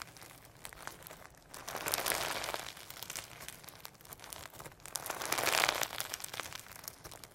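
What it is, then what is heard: Sequin-filled slime. Firm, sequin-packed hologram slime is squeezed, pulled into a long strand and folded by hand, producing a steady stream of bright, sticky crinkling and crackling. Two louder, denser swells of crackle build up and fade over the course of the clip, with almost no low end.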